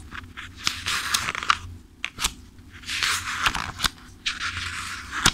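Fingertips riffle and flip the thick paper pages of a paperback book held upright. Bursts of bright, papery rustling alternate with sharp, quick flicks as the pages snap past, with little low end.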